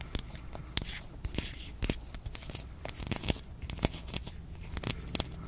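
Long painted nails scratch and tap along the ridges of a small, hollow, hand-sized pink hard plastic toy with a Shopkins-style face, held in the fingers. A quick, irregular series of crisp, bright clicks and scratchy rasps stands out over a low, steady hum.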